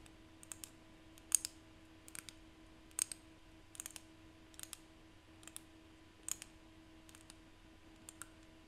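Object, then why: Seashells. Seashells are tapped by hand, producing quiet, bright, dry clicks that come in irregular small clusters across the clip. Each tap dies away almost instantly, over a faint steady low hum.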